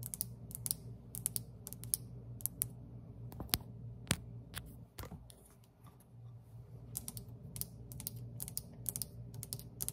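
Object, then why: Terracotta tiled tabletop. Long pointed acrylic nails on one hand tap a large, solid terracotta-tiled tabletop with dark grout lines. The taps come as quick, dry, bright clicks in uneven bursts and flurries, with a few sharper knocks standing out. A steady low hum runs underneath, and the tapping thins into a quieter lull near the middle before picking back up.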